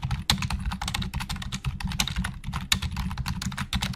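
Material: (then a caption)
Plastic. Fingertips of both hands type very fast on the hollow plastic keys of a black plastic Logitech full-size keyboard resting on a desk. A rapid, dense stream of short, bright clicks and clacks overlaps a steady low hum, with each keystroke dying away almost instantly.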